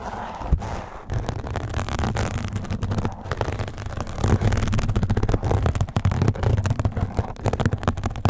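A soft, flexible yellow nylon mesh scrub sponge is held over a microphone, scratched with a small blue plastic pick and fingertips, then rubbed and squeezed. The sound is a dense stream of close, low, muffled crackles and rustling scrapes with quick pops that die away almost at once. It grows slightly louder and busier in the second half.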